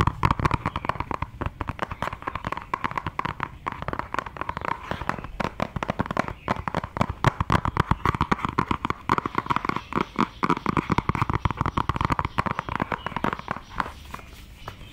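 A flat, beige, medium-sized cardboard makeup palette box is held in both hands and tapped and scratched with long dark nails. Rapid, dense, dry clicks and scrapes continue throughout, each dying away almost instantly, with most energy in the midrange around 1 kHz.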